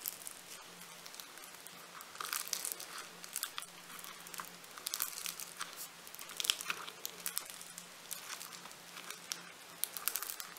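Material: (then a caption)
Polystyrene beads. A hand-sized, soft, solid lump of pink floam, a polystyrene micro-bead clay, is squeezed, pulled and kneaded by fingertips with painted nails. It gives off dense, bright crackling and crinkling bursts from the beads, rising and falling with each squeeze over a faint steady low hum.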